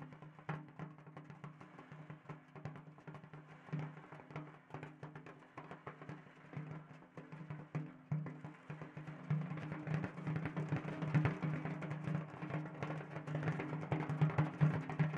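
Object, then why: Large frame drum with a natural hide head on a wooden rim. A large round frame drum with a stretched natural hide head on a wooden rim is held upright in both hands while fingertips tap and rub the hide. A steady stream of quick, soft, dry taps sits over a low drum tone around 150 Hz with a faint rubbing hiss. The playing grows denser and louder from about nine seconds on.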